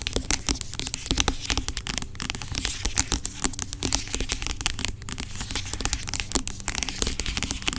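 Long acrylic nails rapidly tap and scratch the sides of a large, dark plastic pump bottle of aloe vera gel lying on its side, hollow and seemingly filled with gel. Dense, bright clicking taps and scratchy crackles run throughout with no pause, over a steady low hum.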